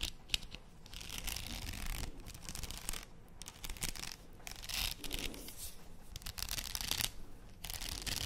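A faux pearl padded headband with plastic beads is held close to a microphone while long nails scratch and tap across the beads. Dense bursts of bright, scratchy rasping alternate with brief quieter gaps over a steady low rumble. A sharp tap stands out near the start.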